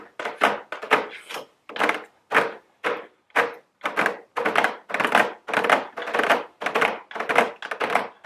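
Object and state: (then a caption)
Cardboard gift box tapped with long nails. Very long blue nails tap and scratch a medium square cardboard nail polish gift box with a round plastic window, held upright. Dry, hollow papery thunks come in an uneven string, each a short midrange burst with a scratchy, bright rasp and almost no low end. The sounds die away quickly with no lingering ring.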